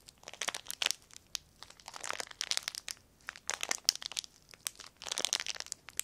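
A small sheet of clear plastic film is crumpled and crinkled between both hands. Dense bursts of bright, crackling rustle come in clusters with brief quiet gaps, with almost no low end.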